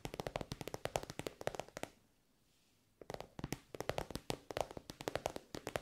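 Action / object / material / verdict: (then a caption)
tap / soft synthetic-fabric pencil case / synthetic fabric / none. Long nails tap fast on an elongated, soft, glossy pink pencil case covered in shiny pink synthetic fabric. The taps are short, dry and clicky, with a tone around 600 Hz. They come in quick bursts that stop for about a second in the middle, then resume.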